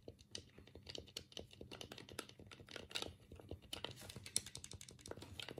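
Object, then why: Plastic game controller. A black hollow plastic Sega Mega Drive 3-button game pad is held in both hands over a cutting mat while the thumbs press and click the D-pad and the A/B/C buttons. A rapid, uneven run of short, dry plastic clicks and taps sounds with a bright, crisp edge and almost no ring after each press.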